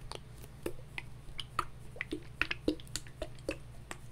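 Fingernails tap on a clear plastic hand sanitizer bottle with a flip cap, partly filled with gel and held in the hands. About fifteen short, dry, clicky taps come at an uneven pace, each with a bright tick that dies away almost instantly over a faint low hum.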